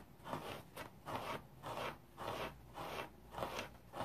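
A hand-sized rectangular kitchen sponge with a red abrasive synthetic fiber scouring side is held and scratched dry with fingernails. The result is a quiet, steady series of short, raspy, crackling scrapes, each a broadband burst centered in the mids with a little bright hiss and a brief tail.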